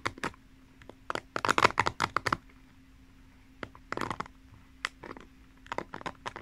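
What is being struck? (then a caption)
Plastic pin bristles of a paddle hairbrush. Long painted nails scratch across the tips of the plastic pin bristles set in the cushion of a pink paddle hairbrush held horizontally. The sound is bursts of quick, dry, bright clicking and scratching ticks separated by quiet pauses, over a faint steady low hum. Each tick stops instantly with no ring.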